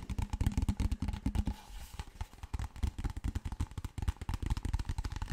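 A large, clear PET plastic water bottle that appears empty is held sideways and upright while fingertips and nails tap and scratch it. The result is a rapid, uneven run of short, dull taps and scratches, mostly low and boomy, with each hit dying away almost instantly.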